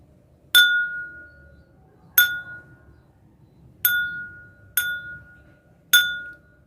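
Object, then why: Glass drinking glass struck with a metal spoon. A drinking glass is struck five times with a spoon, each tap giving a clear ringing tone near 1.4 kHz with bright overtones that fades within about a second. The glass rings because it vibrates.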